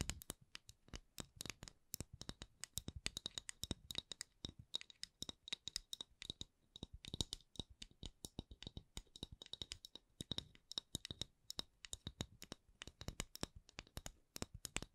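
Long acrylic nails tap and scratch a round, palm-sized wooden candle lid of solid thin wood with a printed logo. Rapid, uneven runs of crisp, bright clicks and scratchy scrapes come at a quiet level, each tap dying away almost instantly. A faint steady high tone sits beneath the tapping for most of the clip.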